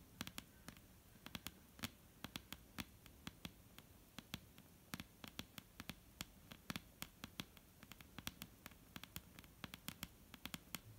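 Long painted nails of both hands tap and lightly scratch a solid, dark brown wooden table top. Quick, dry clicks with a bright edge land in an irregular stream over a faint low hum, each dying away almost instantly.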